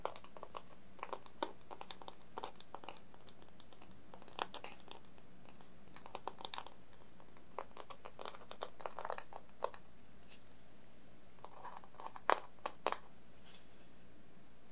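Long nails and fingertips tap on the underside and rim of a plain, shallow, hollow dark-brown wooden plate, empty and held up in both hands. The result is a quiet stream of quick, dry clicks and knocks that die away almost instantly, with a few louder taps near the end.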